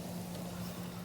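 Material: Nothing is struck.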